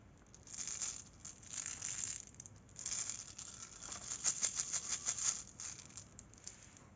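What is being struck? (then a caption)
Sugar-coated jelly beans. A handful of small, solid, sugar-coated jelly beans in many colours, just poured out of a clear plastic candy bottle, is rolled and shaken in open palms. The beans rattle against each other in bright, dry, clicking bursts that rise and fall irregularly, with the loudest cluster of quick clicks near the middle. Each click dies away almost instantly.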